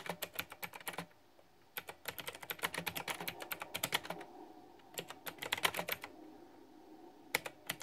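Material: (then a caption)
Plastic. Fingertips type on a pink flower-themed, backlit, typewriter-style plastic retro mechanical keyboard with round keycaps. Bursts of crisp, bright, clicky key taps come in quick runs, separated by short quiet pauses. Each tap is sharp and dies away almost instantly.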